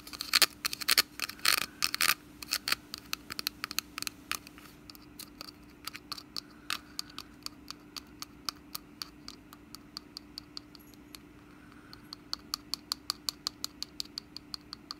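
Long nails scratch and tap the woven top of a small, hollow, orange wicker pumpkin basket with a stem on its lid, held close, working around the stem. A dense burst of bright, crackly scratching in the first two seconds gives way to sparse, sharp, dry clicks and taps at an uneven pace, over a faint steady low hum.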